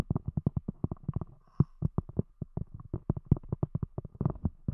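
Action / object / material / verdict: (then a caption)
tap / thick cork disc over a microphone / cork / none. A round, thick solid cork disc covering a microphone is tapped with long acrylic-style fingernail tips of both hands. About 28 quick, dull, low thuds fall in an uneven rhythm, each dying away almost at once with no high ring.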